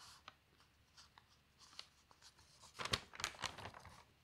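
Fingertips with long nails turn and smooth the thin newsprint sheets of an open paper newspaper at an advertisement page. Soft, scattered crinkles and light taps build into a denser, brighter burst of rustling near the end, then fade back to quiet.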